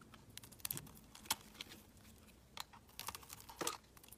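A utility knife blade shaves flakes off a palm-sized, opaque peach-orange bar of solid soap held in the hand. The result is a quiet series of short, crisp, bright scraping clicks, uneven in spacing and strength, with almost no low end and no ring after each cut.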